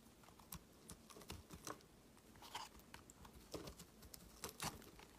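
A metal utility-knife blade carves chunks off a palm-sized, solid pink marbled bar of soap with an embossed logo, held in the hand. The blade makes a quiet run of crisp, dry scrapes and clicky cuts with bright, short bursts. Each cut dies away almost at once against a soft background hiss.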